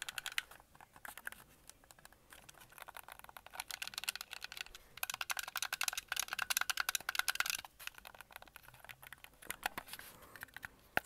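Fingertips and nails press the buttons and tap the shell of a handheld, white and red hollow plastic Xbox Series game controller. Quick, dry, bright plastic clicks and taps come in an uneven patter that swells into a dense run in the middle before thinning out again.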